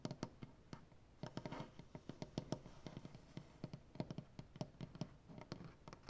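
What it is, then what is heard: Wooden butcher-block table. Dark-painted fingernails on both hands scratch, scrape and tap across a solid light-wood butcher-block tabletop. Many quick, dry knocks with a low woody body and almost no ring come through, with soft scraping in between. The overall level is quiet.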